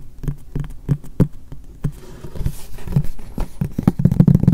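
A medium white frosted translucent polypropylene storage box in the Muji style, hollow and apparently empty, is held upright and tapped on its face with the fingertips and short nails of both hands. The taps are soft, dull, hollow thuds with a low body and almost no bright edge. They start sparse and grow into a quicker, denser patter toward the end, each one dying away almost at once.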